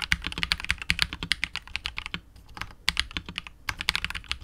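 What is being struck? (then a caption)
Mechanical keyboard with plastic keycaps and plastic case. A KBD67 Lite R2 65% mechanical keyboard with KTT Wine Red switches, PBT keycaps and a hollow, clear translucent polycarbonate case is typed on with the fingertips, then slows to one hand at the end. About thirty short, bright, clacky keystrokes ring off almost instantly, with a brief quiet gap midway and little low thump beneath the high, crisp clicks.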